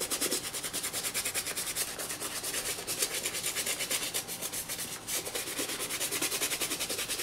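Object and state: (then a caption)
Leather sneaker being scrubbed. A toothbrush vigorously scrubs the lathered side panels of a hollow black and green leather high-top sneaker lying on its side. The result is a rapid, steady back-and-forth of bright, scratchy brushing strokes that pulse as a continuous, hissy scrubbing texture.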